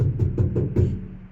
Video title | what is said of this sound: 2nd Gen Ram Interior Refresh | How that sound kind of sounds hollow